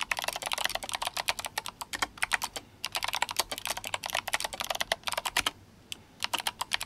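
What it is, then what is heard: Mechanical keyboard with clicky switches. Fingertips of both hands type fast on an RGB-backlit GMMK Compact mechanical keyboard fitted with clicky Kailh Box White switches and plastic SA keycaps. Rapid, bright, sharp clicks come in dense bursts, with short pauses near 2.7 seconds and between about 5.5 and 6.2 seconds, each click ending almost instantly with very little low end.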